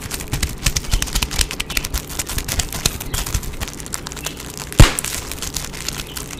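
Clear, air-filled plastic bubble wrap is held in both hands while fingers squeeze and pop the bubbles, with some crinkling of the film. A steady run of short, sharp snaps and crackles carries a bright edge, and one much louder pop stands out near the end.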